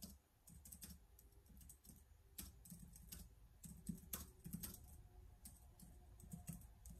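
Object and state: Plastic laptop keyboard being typed on.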